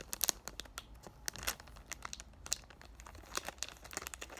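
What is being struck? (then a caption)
Cardboard box in cellophane wrap. Short black-painted nails tap on a hand-sized cardboard "Thank U Next" perfume box held in both hands, crinkling and scratching its clear cellophane wrap. Quick, sharp, bright clicks and crisp crackles come in an irregular stream, with almost no low end.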